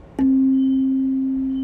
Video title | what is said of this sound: Avoid Chatter on Your Mill Haas Automation Tip of the Day | now creates a slightly different sound and it's no longer exciting the second tuning fork in this same way